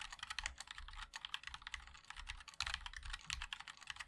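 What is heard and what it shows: Fingertips of both hands type continuously on a compact 60% MOD-L mechanical keyboard with a black case, white and black plastic keycaps, and linear switches. It makes a rapid, steady stream of short, bright plastic clacks with a soft low thump under each press. Each keystroke dies away almost instantly.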